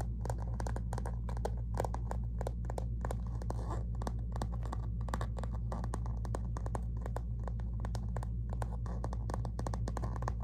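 Long natural fingernails scratch and tap a medium, flat, silver-rose metallic textured faux-leather zip cosmetic pouch with a Christian Siriano print, held up, soft-sided and apparently empty. Rapid, uneven crisp clicks and scratchy rasps run throughout over a steady low hum.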